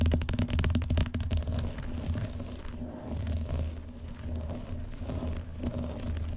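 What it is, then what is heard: Vinyl-covered binder. Fingertips and medium painted nails tap and scratch the front cover and edge of a closed, fairly flat, letter-size blue vinyl binder lying on a large cardboard box. A quick run of dull, low thumping taps fills the first second and a half, then gives way to softer, quieter scratching and occasional light taps.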